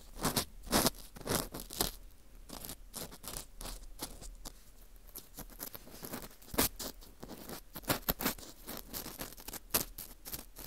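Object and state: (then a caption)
Dried wheat gluten fu ring being scraped. An orange plastic earpick scrapes inside the center hole of a dry, porous slice of dried wheat gluten fu ring. It makes dry, crackly scratching strokes, about two per second in an uneven rhythm, with brief brighter crunchy bursts over a soft, hissy background.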